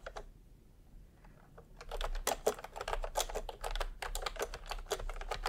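A full-size pastel plastic retro keyboard with round plastic typewriter-style keycaps rests on white fabric while the bare fingertips of both hands type on it. A few sparse taps give way, after about two seconds, to a fast, uneven run of repeated key presses. Each press is a short, dry, clacky click with a bright top and a mid-toned body, over a faint low background hum.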